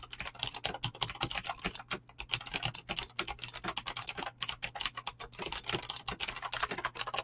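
A full-size mechanical keyboard with Razer clicky green switches and dyed PBT plastic keycaps sits on a desk and is typed on fast with fingertips and short nails. The continuous key presses make a dense, bright clicking clatter of short, sharp snaps with almost no ring, over a faint steady low hum.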